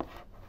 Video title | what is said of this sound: Обзор цифрового 🛠️ мультиметра ANENG SZ-305 - Кому он подойдет? | if you tap the case, you can hear that the device is mostly empty inside